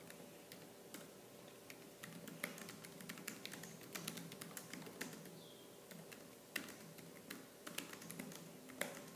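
Fingertips with purple nails type fast on a laptop keyboard with black plastic keys, producing a quick, uneven stream of short, bright plastic clicks and taps. Each tap dies away almost instantly, with some louder strikes standing out over a soft, steady background hum.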